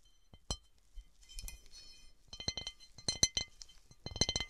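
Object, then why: Textured cut glass object. Fingernails tap and scratch a textured cut glass object, making bright, short glassy clinks with a high ringing tone. The taps come in irregular bursts, some louder and clustered, with faint scratching between them.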